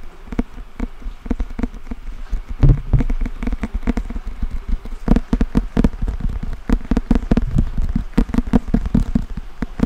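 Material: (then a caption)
Cardboard. A thick paperback book with a glossy printed cardboard cover is held in both hands close to the microphone while fingertips and nails scratch and tap across the solid cover and spine. Rapid, dry, closely spaced taps and scratches sound with a low, muffled body and almost no ring.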